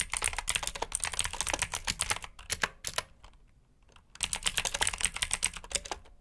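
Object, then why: Plastic mechanical keyboard. Fast typing with both hands' fingertips on a black backlit mechanical keyboard with blue switches and plastic keycaps gives bright, sharp clicking keystrokes. A brief pause around the middle is followed by another quick burst of clicks.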